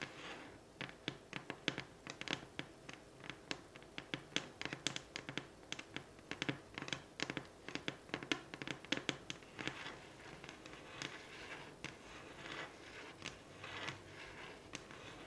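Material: Wood.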